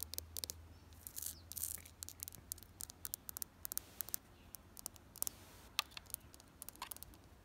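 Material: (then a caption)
Plastic. Long nails scratch and tap on a red ribbed plastic planter box filled with soil. Dozens of quiet, short, bright clicks and scratchy taps sound in an irregular patter, each dying away almost instantly. A low hum runs underneath during the first half.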